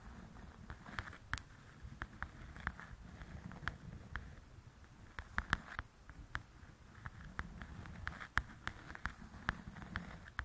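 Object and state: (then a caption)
Paperback coloring book tapped with nails. Long nails tap and scratch the glossy cover of a large, flat paperback coloring book. Irregular sharp, dry clicks with a bright edge and almost no ring sit over a soft scratching rustle and a low, steady rumble.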